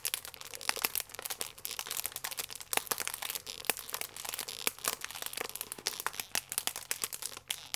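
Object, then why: Plastic film food wrapper. A full plastic-film croissant pack is squeezed and crinkled with thumbs and fingers. The result is a continuous run of sharp, bright crackles and crinkles with almost no low end. Each snap dies away almost instantly.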